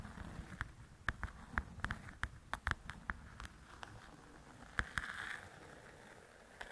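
Long pointed acrylic nails tap and scratch across the paper cover of a large, flat paperback coloring book, Belles and Blossoms, lying on a table. A series of quick, dry, light taps with almost no ring is heard, with a brief soft scratching rustle between them. The sound stays quiet and close throughout.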